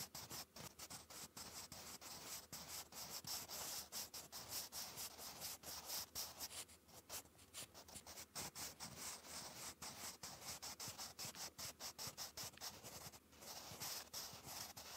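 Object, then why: Graphite pencil on lined notebook paper. A sharpened wooden graphite pencil, held in the fingertips, writes cursive across a textured grey lined paper page in a notebook. It makes a steady run of bright, hissy scratching and rubbing strokes with little low end. The strokes come in quick, irregular bursts and short pauses for about fifteen seconds.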